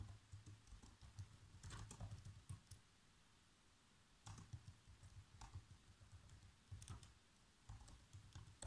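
Bare fingertips with short nails type continuously on a black plastic laptop keyboard. Soft, low, thumpy key taps come in quick bursts with brief, bright clicks, with a short lull in the middle before the typing resumes.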